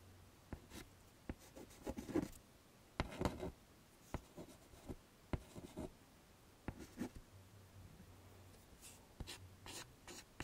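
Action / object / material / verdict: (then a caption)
scrape / chalk stick on a wood-framed chalkboard / chalk / none. A hand draws curly hair lines with a white chalk stick on a medium, flat, wood-framed chalkboard lying on a table. Short bursts of dry scratching and dragging alternate with sharp chalk taps against the board. A faint low hum sits underneath.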